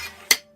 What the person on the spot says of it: this has such a nice shing sound. You hear that? It rings.